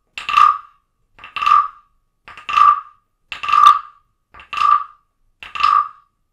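A small carved wooden frog figurine, a ridged-back frog guiro resting on a book and held by a hand with long nails, is played with a wooden stick. Six evenly spaced strokes are heard, each a short tap followed by a longer rasping scrape with a woody, croak-like tone centered near 1.2 kHz.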